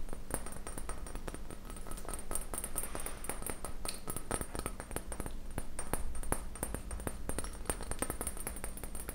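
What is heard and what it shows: A small Pyrex-marked glass beaker is tapped with fingernails in a quick, continuous stream, including taps on its bottom. Each tap is a short, dry click with only a brief trace of bright glassy ring, heard over a steady low hum.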